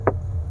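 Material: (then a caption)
Hard plastic. A single knock on a rigid hard plastic interior trim panel in the cabin of a 2023 Wuling Binguo EV, next to a soft-touch section. It gives a short, dull tap with energy mostly in the low mids that dies away almost at once over a steady low hum. The panel sounds solid.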